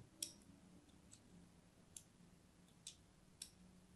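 A thin pointed blade scores a solid, palm-sized purple-and-white striped soap bar held in the hand, making scratching and cutting strokes. Five short, bright, crisp clicks stand out clearly against a quiet, low background hum, each fading almost at once.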